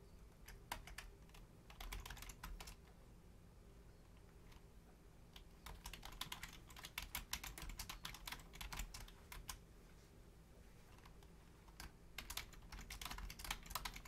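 Both hands, using long painted nails and fingertips, rapidly tap the membrane keys of a black plastic Logitech full-size keyboard with a hollow shell. Quick, bright clicky taps come in bursts separated by short pauses, over a quiet low hum. Each tap dies away almost instantly.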